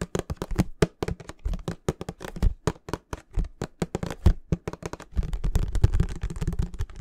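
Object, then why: Plastic bottle of oil. Fingertips and nails tap rapidly on the sides of a clear plastic Mamia baby oil bottle with a yellow cap, apparently filled with liquid. The quick, dull, low-heavy taps die away almost instantly. After about five seconds they blur into a denser, nearly continuous patter.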